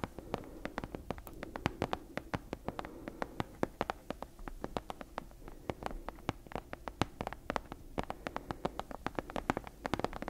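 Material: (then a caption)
Leather. Long nails tap and scratch the cover of a brown leather-bound book with a stitched spine, held upright. The result is a rapid, irregular stream of short, dry, clicky taps that stop instantly without ringing, set over a soft, low rustling scratch.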